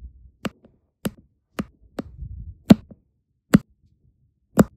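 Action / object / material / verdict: tap / resin diamond painting drills on adhesive canvas / resin / none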